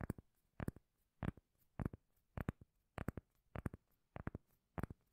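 A round, solid, palm-sized cork lid is held in the hand and tapped and scratched with long nails. Quick clusters of two or three dull, bassy knocks repeat roughly every half second, each dying away almost instantly with no ring. Faint scratchy texture sits between the bursts.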